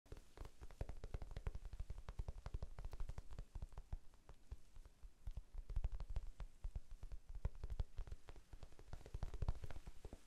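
A small, soft, solid rectangular pink foam sponge, held in both hands close to the microphone, is tapped with the fingertips, sometimes fast and sometimes slow. The result is a continuous stream of quiet, dull, muffled thumps with deep low-end weight and almost no brightness, each dying away almost instantly. The rhythm is irregular, speeding into dense flurries and easing off again.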